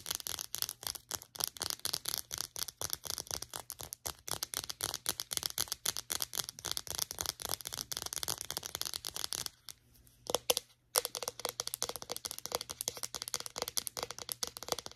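Long nails tap and scratch rapidly on the casing of a small white plastic Secret deodorant stick with solid product inside. The result is a dense stream of dry, bright clicks and scrapes, with a brief near-silent pause a little past the middle and a few sharper taps before the tapping resumes.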